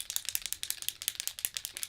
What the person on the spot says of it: You can hear that little bead inside.